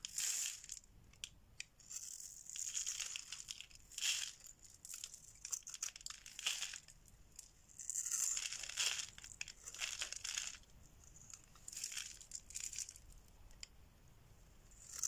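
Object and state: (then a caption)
Dry bar soap being shaved. A solid, oval, orange bar of dry soap is held in the hand and scraped and shaved with a metal blade, with the shavings falling away. Bright, crisp scraping and crunching strokes come in repeated bursts, mostly high-pitched with almost no low end, separated by brief quiet gaps.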